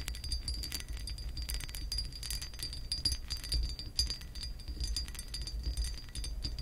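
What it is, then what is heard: Textured glass lamp base scratched with nails. Long acrylic nails scratch the raised scale pattern on a hollow pressed glass lamp base, making a continuous run of fast, dense scratching clicks. The bright, brittle taps and scrapes overlap closely, with a steady high whine and a constant low hum underneath.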